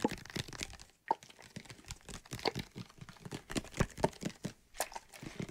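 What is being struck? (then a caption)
Plastic bottle with soapy water. A medium white plastic bottle with a cap, partly filled with soapy water, is held close to the mic and shaken while fingertips and nails tap and scratch it. Dense, quick, dry taps and crinkly, crunchy scratches ride over soft sloshing, with a brief near-silent gap around the one-second mark before the tapping picks up again.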